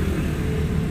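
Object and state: Nothing is struck.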